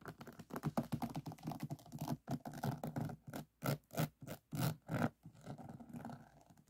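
Fingers scratch across a finished resin diamond painting, whose resin drills sit on a flat board, moving near the edges and the center. Quick, dry scratching bursts come in rapid clusters at first, then fall into a slower rhythm of separate strokes. They end in a softer, thinner rasp.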